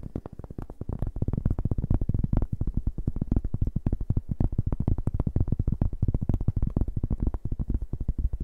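A large, round, flat cork board, solid and thin, is held in both hands and tapped and scratched with fingertips and nails. It gives a rapid, steady stream of short, dull, low thuds with almost no ring and no bright edge, at an even moderate level throughout.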